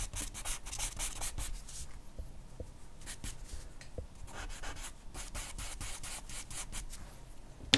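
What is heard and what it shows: A hand strokes and scratches a charcoal pencil across a flat sheet of white drawing paper bearing a charcoal portrait, the paper lying on a dark board. Quiet, steady rubbing and scraping strokes come in bright, hissy bursts over a low rumble. A sharp click sounds right at the end.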